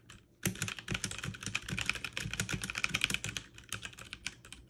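Fast two-handed typing on a backlit mechanical keyboard with plastic keycaps, struck with fingertips and long nails. After a brief quiet start, a rapid, steady stream of bright, sharp clacks runs continuously, each keystroke clicking crisply with a light low thump beneath.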